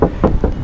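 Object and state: Hollow-sounding car body panel without sound deadening.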